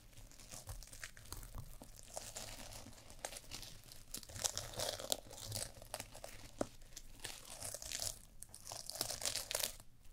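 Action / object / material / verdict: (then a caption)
scrape / sequin fabric eye mask / sequin fabric / none. Long nails scratch and brush across a small sequin fabric eye mask held over a black mannequin microphone head. The result is a quiet, steady stream of bright, crinkly scratching, dotted with sharp little clicks and rustles that swell and fade over about ten seconds.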